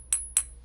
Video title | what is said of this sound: v2詭異debug磁場／豐盛琉璃貔貅 & Verizon 砍價／分享 & 照顧好自己的感受｜v2 Debug Vibes/Verizon Deal/Sharing&Self-Care. Vlog004 | 我发现琉璃的声音跟玻璃还真是不一样